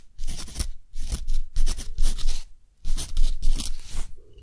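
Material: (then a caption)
Cotton paper. A metal dip-pen nib scratches across a flat sheet of thick, rough-textured cotton paper in continuous handwriting strokes while a hand holds the sheet. The sound is a series of dry, bright, scratchy bursts with a low rumble beneath, separated by short quiet pauses between strokes.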